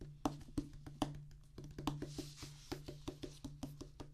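A solid black rubber drum practice pad on a wooden base is drummed and tapped with the fingertips and palms of both hands. A quick, uneven run of short, dry, muted thuds and knocks dies away almost instantly, over a steady low hum.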